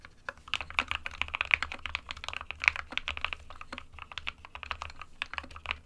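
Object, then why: Plastic mechanical keyboard. Fingertips of both hands type continuously on a small 60% SK61 mechanical keyboard with a white plastic case and plastic keycaps, resting on a desk mat. A rapid, uneven stream of short, bright, clacky keystrokes fills the clip, each dying away almost at once over a faint steady low hum.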